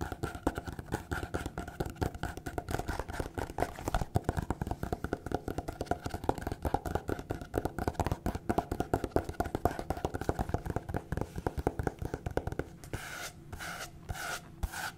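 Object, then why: Small paper notepad. Long painted fingernails rapidly scratch and rub a small printed paper notepad, a solid stack of sheets held in hand, making a dense, dry, fast scratching and tapping texture with short clicks that die away almost at once. Near the end the scratching gives way to a few softer, breathier sweeping strokes across the paper.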